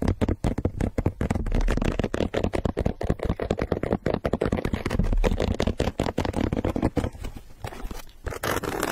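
Long nails rapidly scratch the perforated toe and the gum-sole sidewall of an empty pink leather sneaker held in hand. The result is a dense, fast run of short, dry scraping strokes with a heavy low thump underneath, no ring, and a brief quieter stretch near the end.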